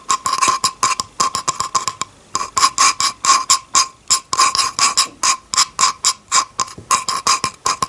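A flat, solid bamboo cutting board, seen close up, is tapped near its edge with a long painted fingernail in a quick, uneven series of sharp taps. Each tap is a brief, bright click with a hollow tone around 1 kHz that dies away almost at once, with a short pause near the two-second mark.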